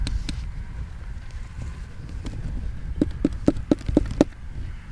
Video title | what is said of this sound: How to Perform a Root Collar Excavation, Part 2 | Nice and hollow. It's hollow, yeah.